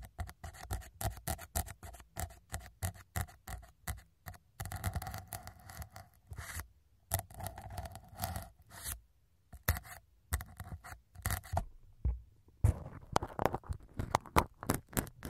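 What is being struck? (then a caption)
Foam microphone windscreen. A syringe needle pokes again and again into small white foam microphone windscreens while a hand steadies them. The result is a long run of short, dry, scratchy taps and soft crunches, heavy in the low end with a faint midrange tone. The taps come in quick bursts separated by brief silences.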